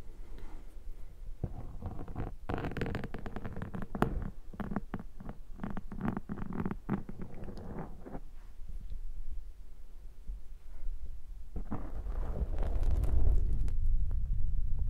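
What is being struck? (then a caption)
Foam microphone windscreen. A metal pick scrapes across a black foam microphone windscreen in quick, uneven strokes, making dense scratchy rasps and clicks. Fingers then squish the foam, giving soft, low, muffled crunching that grows louder toward the end.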